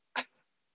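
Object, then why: Bronze medal with beads inside. A 2016 bronze Paralympic medal from the 100 backstroke, made of metal with beads inside, is shaken once, giving a single short, bright rattle followed by a faint trailing clink. Bronze is the quietest of the medals, with gold holding more beads, so blind athletes can tell the medals apart by sound.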